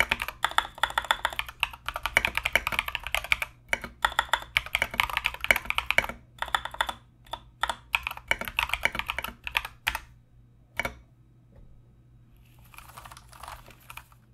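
Fast typing on a compact mechanical keyboard with Mozano EVE switches and plastic Knight King SA keycaps, both hands striking with the fingertips. Dense bursts of bright, sharp clicks and clacks run for about ten seconds, then thin out to a few isolated key presses. A faint, soft hiss lingers near the end.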